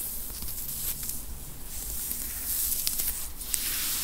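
Long, pointed teal acrylic nails scratch and rub a dark grey knit T-shirt, probably cotton, worn on a seated person's back over the upper back and shoulders. The result is a soft, steady, bright scratchy hiss with brief sharper strokes, all damped by the body underneath.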